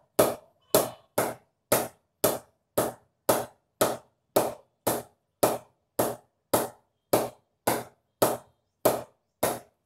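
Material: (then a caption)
Willow wood. A Kashmir willow cricket bat (SS Josh) is tapped on the blade with a synthetic ball, the kind normally used to knock in bats, to judge its ping quality. Eighteen separate, evenly spaced knocks are heard, each a short, bright tock centered around 625 Hz that dies away in about a tenth of a second.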